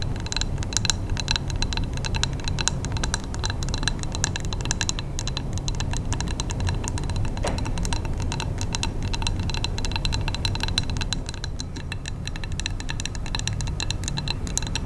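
Long nails tap rapidly on a large wax-filled glass candle jar with a paper label, held close, striking both the glass and the label. Dense, fast, bright clicking ticks run continuously for the whole clip over a steady low rumble.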